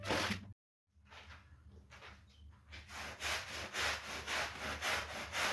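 A long-handled push brush with stiff bristles scrubs back and forth across a large, flat woven rug covered in soapy foam on a tiled floor. A brief, bright wet scrape cuts off into a moment of silence, then soft, bristly rubbing builds into steady, rhythmic hissing strokes with a low, wet swish beneath them.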